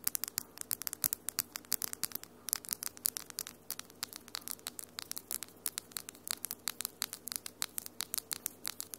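Long almond-shaped acrylic nails with pink and lilac glitter polish on one hand tap and scratch against the nails of the other hand, close to the mic. About sixty sharp, bright, very short clicks follow in rapid, irregular succession, with faint scratchy friction between them. A quiet, steady low hum sits underneath.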